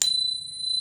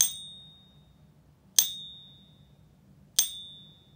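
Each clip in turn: First: sterling silver coin, long resonant ping. Second: pure silver coin, short ping.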